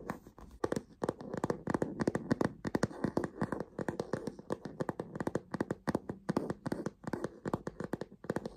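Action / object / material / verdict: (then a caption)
tap / stiff leather base of a fabric tote bag / leather / none. Fingernails and fingertips tap and scratch along the stiff, smooth tan leather bottom panel of a medium-size, hollow, soft-sided check-pattern fabric tote bag. A rapid, irregular run of sharp, dry clicks is heard, with short scratching rustles between them and almost no ring after each tap.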